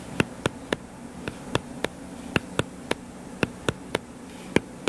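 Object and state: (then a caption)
Paperback book. Fingertips tap on the purple cover of a solid paperback book lying flat, giving 14 short, dry, sharp taps with bright clicky tops. A faint, steady low hum runs underneath.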